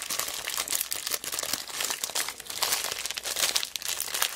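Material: Plastic.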